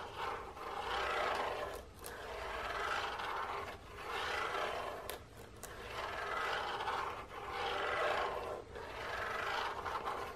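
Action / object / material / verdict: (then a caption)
scrape / cardboard biscuit box / cardboard / none. An open printed cardboard box with biscuits inside is held in both hands while nails and fingertips rub and scratch along its end and side. The result is a dry, rasping midrange scrape that swells and fades in repeated, unevenly spaced strokes, with faint bright ticks between passes.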